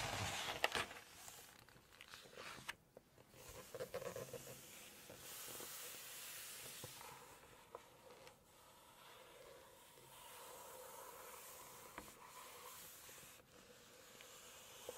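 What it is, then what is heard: Glossy paper pages being scratched. Long nails and fingertips rub and scratch across the glossy paper of an open photo spread in a large hardcover cookbook. A soft, breathy brushing hiss swells and fades with brief scratchy ticks, plus a few sharper crackles near the start.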